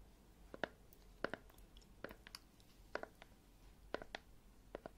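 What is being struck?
Plastic jar of gel.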